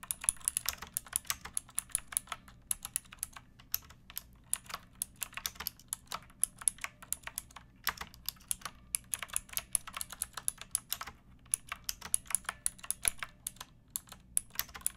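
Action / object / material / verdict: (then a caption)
tap / plastic mechanical keyboard keys / plastic / none. Long fingernails and fingertips type in bursts on a pink backlit mechanical keyboard with plastic keycaps, resting on a wooden block. Dozens of sharp, bright, clacky keystrokes die away almost instantly, with brief pauses between bursts over a faint steady low hum.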